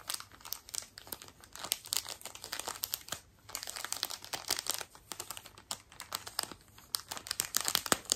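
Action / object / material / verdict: scrape / thin plastic wrapper / plastic / none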